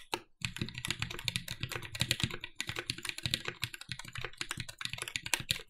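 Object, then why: Mechanical keyboard with aluminium plate and plastic keycaps. A compact red-cased TGR 910 SE mechanical keyboard with Cherry MX "Vintage" Black switches, an aluminum plate and black plastic keycaps is typed on continuously with the fingertips of both hands. After a brief pause near the start, it produces a rapid, dense stream of short, sharp clacks with a bright, crisp top and a light thump underneath. Each keystroke dies away almost instantly.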